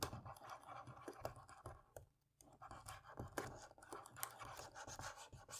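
A cotton swab rubs over the keys of a dirty plastic laptop keyboard to clean it, making quiet, rapid scratching strokes with soft ticks. The scrubbing pauses briefly around the middle, then resumes at a steady pace over a faint low hum.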